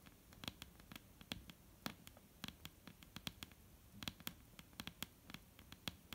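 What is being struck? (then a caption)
Wooden table. Fingertips tap on a wooden table in a rapid, uneven series of short, clicky knocks. Each knock has a bright click over a low, woody thump and dies away almost at once, with faint hiss between taps.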